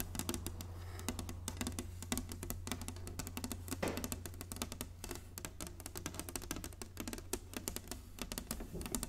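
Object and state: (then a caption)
Wooden chessboard. Long nails and fingertips tap quickly across a flat, solid inlaid wooden chessboard, making a dense run of short, dry clicks with bright attacks and almost no ring. A steady low hum sits underneath the tapping throughout.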